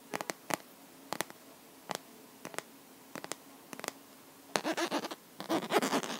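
Long natural nails tap and scratch the flat surface and edges of a handheld smartphone's clear, pink-edged plastic case filled with liquid glitter. Short, crisp clicks come in small clusters with quiet gaps between them. Toward the end, denser, continuous bursts of scratching take over.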